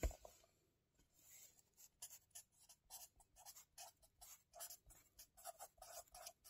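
A felt-tip marker held in the fingers scratches across the lined paper pages of a small spiral-bound notebook lying flat on a table while writing. A brief sharp tap opens the clip, followed by a short pause and then a quiet, steady run of short, dry, scratchy strokes with a bright hiss.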